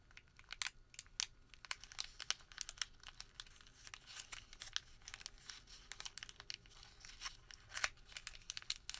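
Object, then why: Thin thermal paper receipt. A thin printed thermal paper receipt is twisted, then crumpled into a small ball with bare fingertips. The result is a quiet, dense run of bright, sharp crinkles and crackles with very little low end, each snap dying away almost instantly.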